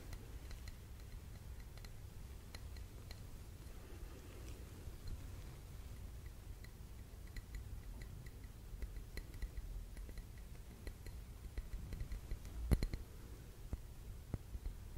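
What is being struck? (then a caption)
Small glass candle jar filled with wax. A small clear glass jar full of wax and holding a lit candle is held at the side and lightly tapped on the glass with fingertips and nails. Soft, short clicking taps with a faint brief ring sit over a steady low hum, with one slightly louder tap near the end.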